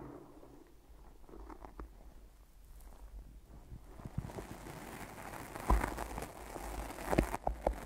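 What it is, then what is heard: Sticky tape on microphone. Long nails and fingertips tap and stick on the sides of white tape-wrapped microphone ears, making soft, low, muffled thumps and faint sticky crackles. The first half is quiet and dull; later, sharper taps and peeling clicks get louder and brighter.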